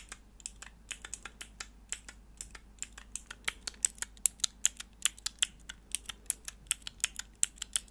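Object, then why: Plastic mechanical keyboard switch tester pressed with fingernails. Long nails press and click the grey plastic keycaps of a hollow plastic mechanical keyboard switch tester, a small clear plastic block with four mechanical switches held in the hands. About thirty short, bright, sharp clicks come in a quick irregular run. Each dies away at once over a quiet background.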